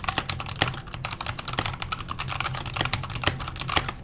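Fingertips type steadily on a backlit KONO kira mechanical keyboard with Halo Clear switches, an aluminum case and plastic keycaps. Rapid, uneven keystrokes give crisp, bright clacks over a low, hollow thock, each dying away almost at once.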